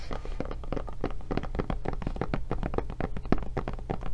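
Long nails scratch and tap the back and handle of a blue silicone rubber tablet case. The result is a quick, steady run of short, dull, muffled taps with brief scratchy textures over a low, steady hum.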